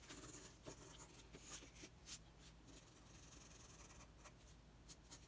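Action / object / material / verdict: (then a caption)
scrape / wooden colored pencil on a sheet of drawing paper / paper / none. A red wooden colored pencil rubs and scratches across a flat, thin sheet of white drawing paper lying on a table in steady coloring strokes. The sound is a quiet, continuous, bright scratchy hiss with brief louder scrapes, over a faint low hum.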